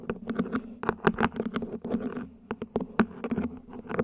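A small hollow mint-green ribbed plant pot, probably plastic, sits upside down while long nails tap and scratch its ribbed sides and top. Quick, dry clicks and short scratchy strokes come in an irregular, busy pattern over a faint steady hum around 220 Hz. There is very little low rumble and almost no ring after each tap.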